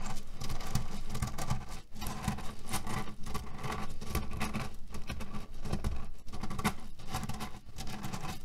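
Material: Cherry pits.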